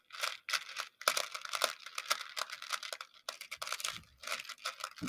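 A makeup brush handle is pushed into a shallow, round, clear plastic dish filled with many small, colorful plastic pony beads and stirs them. The beads scratch and rattle against each other and the dish in a run of bright, crinkly bursts with brief pauses between.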